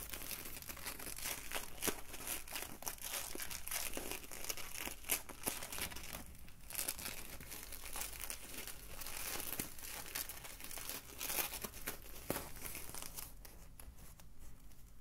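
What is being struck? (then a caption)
Polyethylene foam mesh bottle sleeve. An empty white polyethylene foam mesh wine bottle sleeve is crumpled into a ball and squeezed with the fingers, then flattened and stretched between the hands. It gives off dense, continuous bright crinkling and crackling with sharp brief snaps, over a steady low rumble.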